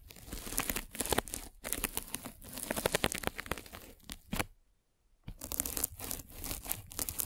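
A metal-spiked derma roller is rolled over a white polyethylene foam mesh net covering a microphone. It makes dense, bright crackling and crinkling, close and scratchy, like soft tearing. The crackle runs in bursts, stops for about half a second near the end, then resumes.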